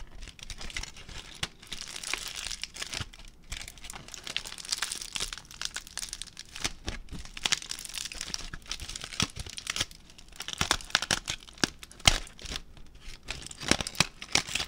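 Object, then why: Crumpled aluminium foil ball. A crumpled aluminium foil ball is pulled and crinkled with fingertips. It makes a dense, bright crackling and crinkling throughout, with sharp louder snaps standing out toward the end.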